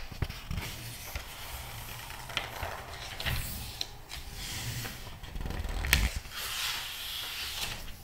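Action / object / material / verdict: scrape / glossy paper magazine pages / paper / none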